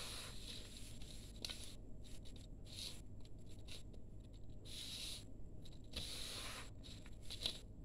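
Hands rub through and crumble fine, crumbly grey dry sand-cement powder mix in a steel bowl. It gives soft, gritty rustling and scraping in repeated bright, hissy bursts over a steady low rumble. The grains sound dry and quiet, with no ringing.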